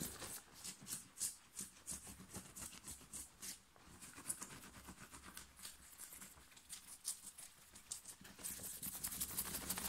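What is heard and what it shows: Fingers scratch and crumple the fabric of a thin, worn, light blue cotton t-shirt on the chest. A quick, uneven run of bright, hissy scratching strokes is heard, with rustling crinkles and faint low brushing underneath. The scratching grows denser and steadier toward the end.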